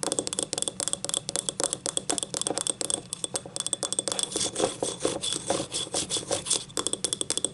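Long painted nails scratch along the ribbed, glazed outer wall of a small, hollow, empty yellow ceramic cup lying on its side. The result is a fast, steady run of about forty-four crisp, bright ticks and scrapes as the nails catch each rib. Each tick dies away almost instantly, with no ringing.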